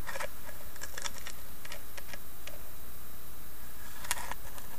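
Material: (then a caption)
Wood. Long nails tap and scratch the carved lid of a small, hollow, rectangular carved wooden box with inlaid leaves. Soft, scattered clicks and brief scratches sit over a steady low hum at an even, quiet level.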